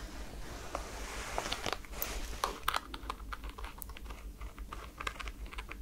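Long nails tap and scratch on the holographic strap and sole of a white NASA rubber foam slide slipper. The result is a quiet string of soft, dry, crinkly ticks with bright edges, each dying away almost at once, over a steady low hum.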